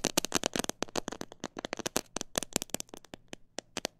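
Long nails and fingertips tap the sides of a clear plastic jar filled with a bird seed mix. A quick, uneven run of sharp, bright clicks and taps follows, each dying away almost at once.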